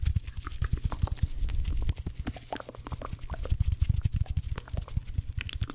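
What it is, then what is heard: Cellulose kitchen sponges. Two dry blue cellulose kitchen sponges, one held in each hand, are tapped and rubbed against each other. The result is a fast, dense run of soft, dull, very low thumps that stop almost at once, with a steadier rubbing stretch in the first two seconds and faint bright scratchy flecks between the hits.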